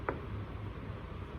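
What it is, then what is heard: Resonant normal lung on chest percussion. A single percussion tap on a human chest over an intercostal space along the midclavicular line, below the angle of Louis, gives a resonant note over normal lung. The short, hollow thump has most of its energy in the low range and fades in about a tenth of a second against a quiet background hum. The result is normal lung resonance.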